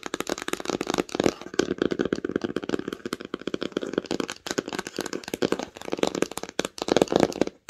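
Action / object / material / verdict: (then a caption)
tap / cloth-bound hardcover book / cloth, cardboard / none. Long pink nails tap rapidly and steadily on the cover of a red cloth-bound hardcover book lying flat. The taps are short, dry, and crisp, with a muted midrange knock and very little low end, continuing in quick, uneven bursts throughout.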